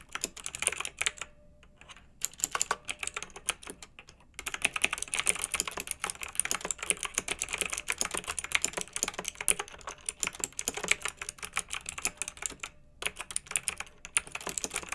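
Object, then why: Plastic mechanical keyboard with round keycaps. Fingertips with long nails on both hands type on a pink backlit plastic mechanical keyboard with round plastic typewriter-style keycaps. Rapid, bright, crisp clicks and clacks run steadily, broken by short pauses near 1, 4 and 13 seconds.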